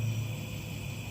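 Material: Nothing is struck.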